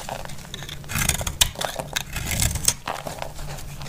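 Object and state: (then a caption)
Dry bar soap scraped with a blade. A utility-knife blade scrapes and cuts a solid, dry purple soap bar held in the palm into flakes. Crisp, rapid scraping strokes crackle brightly over a steady low rumble, and a few sharper cuts stand out.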